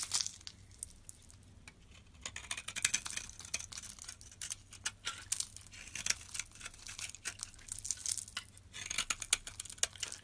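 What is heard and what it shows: A metal utility blade scrapes the surface of a rectangular solid green soap bar held in the palm, shaving it into powder and shavings. The result is a run of dry, bright, crinkly scrapes and quick clicky ticks that come in uneven bursts, over a faint steady low hum.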